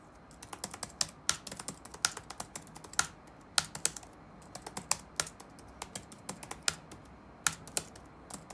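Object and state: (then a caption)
Plastic laptop keyboard. Fingertips type rapidly on the black plastic keys of an open laptop resting on a wooden desk, producing about 33 quick, dry clicks of uneven loudness. Each tap is short, bright and sharp, centered around 1.4 kHz, with almost no low end, over a quiet steady background.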